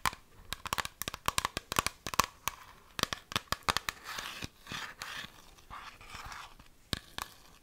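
A partly full clear plastic argan oil bottle with a printed label and brown cap is held in both hands and tapped and scratched with long fingernails. A rapid series of sharp, bright clicking taps with a hollow plastic ring near 1.1 kHz gives way to soft, rasping scratches across the surface. A few final crisp taps close the quiet clip.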